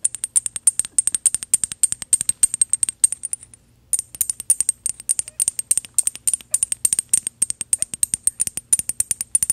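A small gold metal bottle with an ornate cap, held upright, is tapped rapidly with paperclip fake nails. The result is a fast stream of sharp, bright, high-pitched metallic ticks with almost no ring, broken by a brief pause just before the four-second mark before the tapping resumes.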